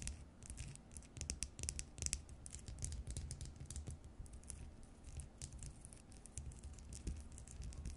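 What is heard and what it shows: Long nails tap and scratch the faceted surface of a small, round, hollow cut-crystal glass bowl on a short foot, which appears empty. Quick, bright clicks and dry scratching come in rapid, uneven bursts with almost no ring, over a steady low rumble at a quiet level.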